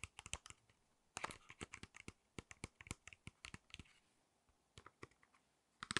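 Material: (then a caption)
Cardboard, plastic. A small, flat false eyelash package made of cardboard with a plastic blister is tapped with long nails. Quick, dry, bright clicks come in irregular bursts, like typing. There is a brief quiet stretch before a final cluster of taps.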